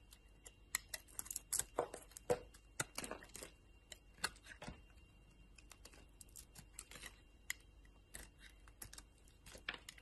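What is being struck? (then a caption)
Bar of soap cut with a knife blade. A utility knife blade carves crumbly shavings from a solid yellow soap bar with purple remnants, held in the hand. Quiet, dry, crisp scraping and crackling cuts come in irregular bursts, with sharp, bright clicks and brief flaky crunches between softer pauses.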